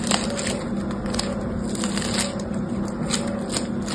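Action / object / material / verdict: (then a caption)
scrape / foam bead slime / foam beads / none. Yellow-green foam bead slime (floam) is squeezed, torn in two and pressed back together with fingertips. Dense crackling and popping runs steadily throughout, with a low steady hum beneath it.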